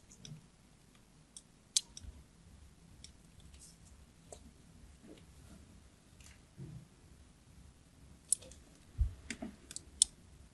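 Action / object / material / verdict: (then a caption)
scrape / glycerin soap bar scraped by a craft blade / glycerin soap / none. A small black craft blade scores and scratches a criss-cross pattern into the surface of a hand-sized, solid, translucent green glycerin soap bar held in a palm by a hand with long painted nails. Quiet, dry scraping runs under irregular sharp, bright clicks, and a few louder snaps stand out near the start and in the last few seconds.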